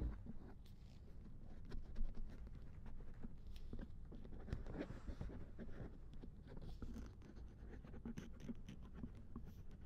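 A silicone ear on a binaural dummy head microphone, resting in a lap, is scraped with a thin wooden or bamboo ear pick. Quiet, close scratching and soft rubbing continue steadily, with faint brighter ticks over a low, muffled body of sound.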